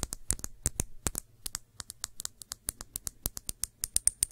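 Long nails tap the side and rim of a small, clear, empty glass shot glass held in the hands. The result is a quick, uneven series of short, bright, high clicks with almost no ring, over a faint low hum.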